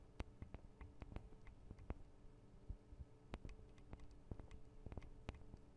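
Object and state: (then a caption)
Nails tapping on metal microphone capsules. Long acrylic nails tap on the tops of the small metal microphone capsules of a Tascam DR-40 recorder. A quick, uneven series of short, dry clicks with bright tips sounds over a quiet, steady low hum, each tap dying out almost instantly.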